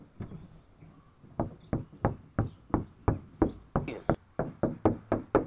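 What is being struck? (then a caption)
Steel car trunk lid. Knuckles of one hand knock repeatedly on the large, hollow, red-painted sheet-metal trunk lid of a 2018 Dodge Challenger. A few faint taps give way to a steady run of firmer, dull knocks about three per second, each a short low-mid thud with very little ring.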